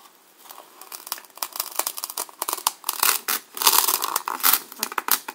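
A serrated black knife blade is pushed down and sawn into the face of a solid white, hand-sized polystyrene foam block held in the hand. The result is a run of irregular, squeaky, crackling scrapes and tearing bursts. They are bright and airy with almost no low end, and they grow louder and denser as the cut goes deeper.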